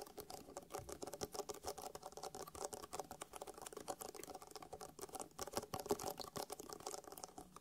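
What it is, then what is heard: Faux leather eyeglasses case tapped and scratched. Fingertips and nails tap quickly and scratch across the top and along the seam of a closed, hollow, black faux-leather-covered hard-shell eyeglasses case. A dense, steady stream of short, dry clicks and scratchy rasps with a mid hollow tone around 410 Hz and no ring after each hit.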